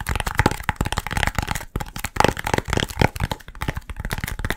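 A short yellow hollow foam pool noodle section is held in both hands and rapidly tapped and squeezed with the fingertips. It makes a fast, dense run of dry, crackly taps and squeaky rubs that die away almost instantly, with a strong low thump under a midrange squeak.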